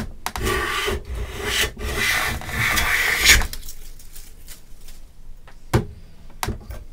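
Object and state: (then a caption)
Pine plank being hand-planed. A metal hand plane, pushed with both hands, shaves the edge of an approximately 1 m solid pine plank clamped edge-up in a bench vise. Three long, bright rasping strokes fill the first three and a half seconds. A quieter stretch follows, broken by a couple of short, sharp knocks.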